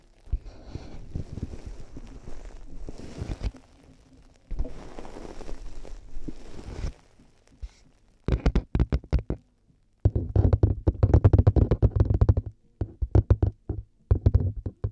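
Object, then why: Plastic headphone earcups. Long fingernails knock and tap on the white plastic earcups of headphones resting on a binaural microphone, sounding against the hollow plastic shell. Two stretches of soft, continuous scratching and rubbing give way to bursts of rapid, close tapping. The result is dull, low, hollow knocks that die away almost instantly.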